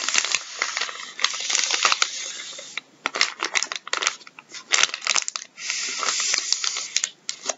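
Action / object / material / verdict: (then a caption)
scrape / soft plastic wet wipes packet / soft plastic / none. Gloved fingertips scratch and crinkle the surface of a full, soft plastic packet of wet wipes resting on a wooden table. Bright, dense crinkling and rustling is broken by sharp scratchy clicks. The sound alternates between sustained crinkly passages and brief quieter pauses.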